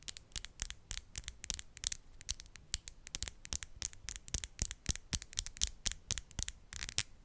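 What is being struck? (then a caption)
Acrylic nail tips. Long, decorated, solid acrylic nail tips are tapped and scratched against each other close to the mic. The result is a fast, uneven stream of dozens of sharp, bright clicks with scratchy edges and almost no ring. A faint low rumble sits underneath.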